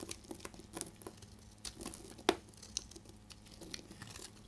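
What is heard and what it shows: A solid, deep red bar of dried soap is held in the hand and scraped and shaved with a utility blade, breaking off crumbly flakes. About sixteen short, dry, crinkly scrapes and crunches are heard, bright and close, with one sharper, louder crack near the middle. Each sound stops quickly with almost no ring.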